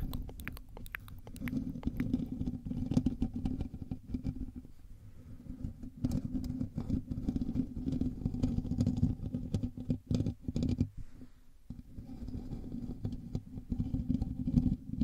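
Fingers of both hands scratch and rub the hollow metal mesh grille of a black USB microphone, producing a dense, muffled scratching rumble concentrated in the low end with sharp crackling ticks on top. The rubbing swells and eases, dipping quieter briefly around the fifth and twelfth seconds before building again.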